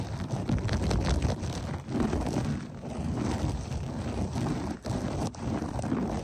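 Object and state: Berber loop carpet being scratched.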